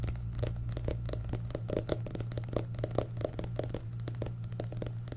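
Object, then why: Paperback book with paper cover. Fingertips tap and scratch the solid back cover of an orange paperback book with a paper cover and a barcode on the back, then both hands tap it. Short, dry taps with a mid-pitched knock sound over a steady low hum, mixed with soft scratchy rustling.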